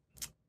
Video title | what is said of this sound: How to Dehydrate Cheese and Make Cheese Power - Plus How to Use Dehydrated Cheese! | when I dropped it into a little bowl it made like a clinking sound